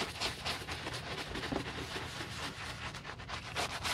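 The soap-foamed toe of a black leather UGG men's boot is scrubbed with a wooden-handled bristle brush. Steady back-and-forth strokes, about four per second, make a bright, wet, hissing rasp with soft foamy crackle. The scrubbing continues without a break.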